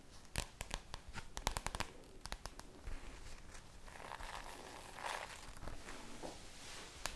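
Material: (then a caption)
Plastic. Long nails tap and scratch the glossy plastic cover of a red spiral notebook. A quick run of sharp, bright clicking taps comes first, followed by softer, hissy scratching and rustling across the cover, ending with one last crisp tap.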